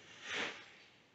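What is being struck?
Nothing is struck.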